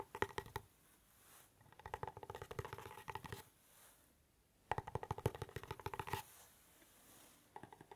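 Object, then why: Small cardboard gift box. Fingernails scratch and tap a small, hollow, dark navy cardboard gift box held near the ear and then in front of the face. Quiet clusters of quick, dry taps and scratches come in bursts with soft, hushed pauses between them. Each tap gives a short, hollow, boxy knock.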